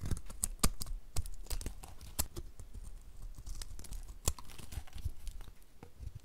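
A utility knife blade shaves and scrapes curls off the edges and face of a dry, two-tone green and blue bar of soap held in the hand. The sound is a quiet run of short, dry scraping ticks and crisp crackles at an uneven pace, each with bright edges, over a soft low rumble.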